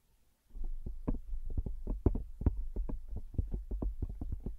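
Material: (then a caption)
Plastic. Long acrylic nails tap rapidly on the edge and back of a smartphone in a pink plastic case, held flat above the mic. After a brief silence, a quick stream of short, dull, low clicks follows, each dying away instantly with no ring.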